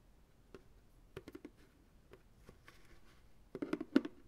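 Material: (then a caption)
Plastic. Fingertips and nails tap the base and sides of a medium white plastic ice cream pail, hollow and empty and held sideways. Quiet, dry, hollow knocks with a low-mid body die away almost instantly. They come sparsely at first, then a quicker, louder cluster of taps closes the clip.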